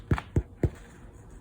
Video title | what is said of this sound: bread scoring | they sound hollow when you tap the bottoms